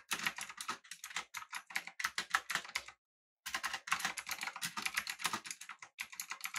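Both hands type with their fingertips on a full-size, backlit, typewriter-style mechanical keyboard with an aluminum body and round plastic keycaps. The result is a rapid run of short, bright, clacky keystrokes with almost no low end. There is a brief pause around the three-second mark before the typing resumes.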